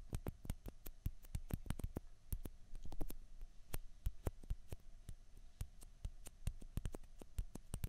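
Long fingernails tap fast on two small hollow white plastic ping pong balls, one held in each hand. The result is a quiet, irregular stream of short, dry clicks that die away almost instantly, with a low, soft body.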